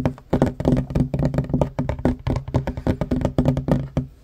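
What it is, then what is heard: Wooden table top. Fingertips and short nails of both hands tap rapidly on a flat, solid wooden table top. The result is a quick, uneven run of short, dull knocks with a low, woody body and almost no ring, each tap dying away almost instantly.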